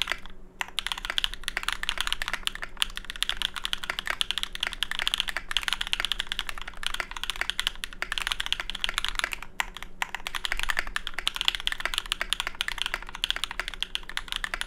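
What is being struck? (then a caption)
Mechanical keyboard with plastic keycaps and aluminium plate. A small 65% mechanical keyboard with a Tofu65 case, aluminium plate, GMK ABS keycaps and lubed Cobalt switches rests on a deskmat and is typed on continuously with the fingertips of both hands. The result is a dense, steady stream of short, crisp, bright clacks with brief lulls near the start and around the middle, over a faint low hum.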